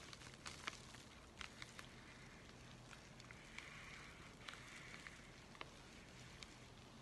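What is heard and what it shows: A flat, empty white USPS paper flat rate mailing envelope is handled and bent with both hands, giving soft crinkling and fingertip scratching. Quiet, papery rustle is broken by sharp, bright crackles, with a steady scratchy hiss around 2.3 kHz in the middle of the clip.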